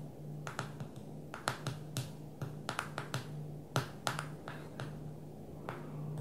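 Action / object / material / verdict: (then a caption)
tap / smartphone glass touchscreen / glass / none. One hand taps the glass touchscreen of a small black smartphone lying flat on a table, using long nails and fingertips. The result is a string of quick, irregular, sharp clicks and softer taps with brief bright ticks, over a steady low hum.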